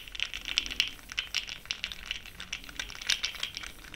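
A fluffy makeup brush swirls and stirs the small pastel powder pearls filling an open, small clear plastic jar held in one hand with long pink nails. The pearls make a continuous, bright rattle of many tiny, quick clicks centered around 3 kHz, with almost no low end. Each click dies away almost instantly.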